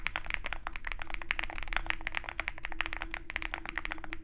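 Both hands type continuously with their fingertips on a compact 65% Zoom65 mechanical keyboard, which has a dark aluminum case, white and pink MT3 plastic keycaps, and lubed tactile switches, is foam-filled, and sits on a desk mat beside a wooden wrist rest. A rapid, steady stream of short, crisp keystroke clacks with a bright, clicky edge rides over a soft, constant low rumble, and each key sound dies away almost instantly.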